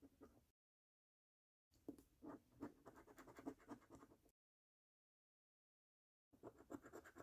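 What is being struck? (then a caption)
Paper lottery scratch card scratched with a coin edge. A coin edge scratches the coating off the order numbers and game panels of a thin, flat paper lottery scratch card. Quick, rasping strokes repeat in three bursts separated by complete silence, with a dry, papery texture centered low around 270 Hz.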